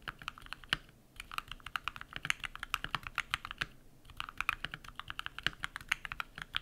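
Bare fingertips type rapidly on a compact modded mechanical keyboard with white PBT plastic keycaps and lubed switches. Quick, crisp clacks with a bright upper-mid tone and little low end stop almost instantly, and the stream of key presses pauses briefly twice.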